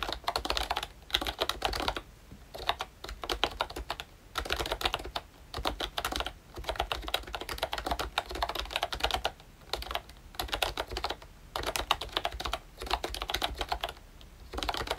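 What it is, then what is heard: Plastic membrane keyboard being typed on. Fingertips type continuously on a pink and brown plastic ROYCHE Disney Mickey Mouse retro membrane keyboard. Soft, muted clicks come in rapid bursts with brief pauses between them, and the clatter sits mostly in the mids and highs with little low end.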